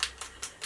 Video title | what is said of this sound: REVIEW & DEMO: Kat Von D True Portrait Foundation | you can hear that little thing whatever that thing that nail polish thing is called a ball